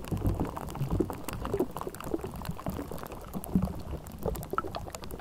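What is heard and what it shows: Long nails of both hands scratch continuously over the bare, hollow metal mesh grille of a Blue Yeti microphone. The result is a dense, low, rumbling scrape with a bubbly, gurgling texture and a steady stream of quick, dry clicks and ticks. Brief louder scratches stand out throughout.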